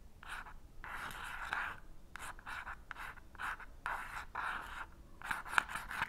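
An unlit wooden match head, held in the fingertips, is scratched repeatedly across the purple, sandpaper-like striker strip on the side of a small cardboard matchbox. Short and longer dry, rasping scrapes centred around 1.4 kHz come in uneven bursts with quiet gaps between them. The match never lights.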